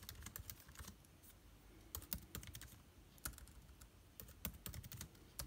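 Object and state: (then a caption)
Laptop keyboard typing. Fingertips type on an aluminium laptop with plastic keycaps. Quick, short clicks arrive in uneven bursts and pauses, each tap bright and dry over a low, soft rumble. The keystrokes die away almost instantly.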